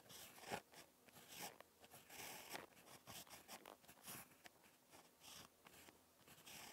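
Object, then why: Ballpoint pen on paper notebook page. A ballpoint pen tip scratches across a lined spiral notebook page during handwriting, making soft, dry scratching strokes with bright, hissy detail. The strokes come in short, irregular bursts at a quiet level.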